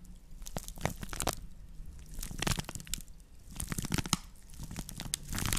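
Long nails scratch and squeeze the woven surface of a round, shallow straw or wicker plate held in both hands, with its hollow underside facing close by. Dry, crunchy crackles and crinkling scrapes come in uneven bursts, with bright rustling over a low, steady hum.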